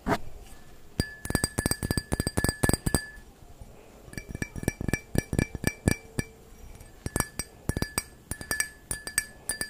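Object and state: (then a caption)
Wine glass tapped with fingernails. A clear, empty stemmed wine glass held in one hand is tapped with the long fingernails of the other, producing quick, bright ringing clinks. The taps come in three rapid bursts over about ten seconds, with short pauses between them.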